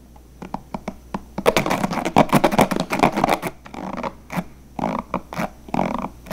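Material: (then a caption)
Plastic. Fingertips rapidly strum and flick the white plastic bristles of a handheld, hollow, blue translucent plastic paddle hairbrush. The result is a fast, irregular run of dry, scratchy flicks and crackles with a bright edge. The flicks bunch into a dense flurry early on, then thin into scattered bursts.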